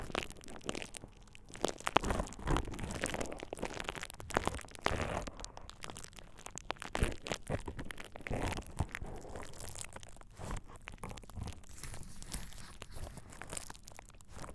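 A thin purple plastic bubble wrap sheet draped over the ears of a dummy-head microphone is squeezed and crinkled by fingertips. Close, steady crinkling and crunching crackles with soft low thumps carry on throughout, rising and falling in dense bursts.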